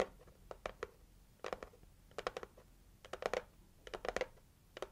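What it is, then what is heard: Cardboard gift box, tapped and scratched with nails. Long acrylic nails scratch and tap the pink printed lid of a cardboard heart gift box, up close. Quiet, dry clicks with a papery midrange around 500 Hz come in irregular bursts of quick taps and scratches, each stopping at once with no ring.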